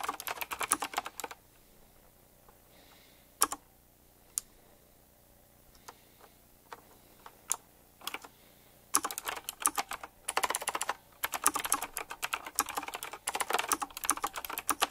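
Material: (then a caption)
Plastic and metal. Fingertips type on a retro typewriter-style mechanical keyboard with round plastic keycaps and metal rims, producing sharp, bright clicks. A quick burst of typing gives way to a few scattered single taps, then fast, dense typing resumes and runs to the end with one short pause.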